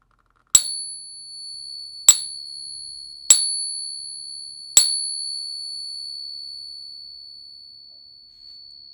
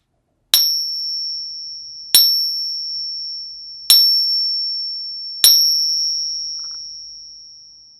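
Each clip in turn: First: Four bright pings, each ringing clear and high for seconds: the sustained tone of a genuine silver dollar. Second: Four bright pings with a high ring from a copper replica dollar, which fails as fake.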